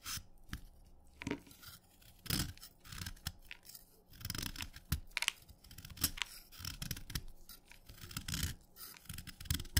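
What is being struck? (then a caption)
Chalk stick scraped with a steel knife. A steel knife scrapes down a short remaining piece of wet orange chalk held in the fingers, reducing it to crumbs. Repeated gritty, bright scraping strokes come with soft low thuds and quick crumbly crackles, each stroke dying away almost at once.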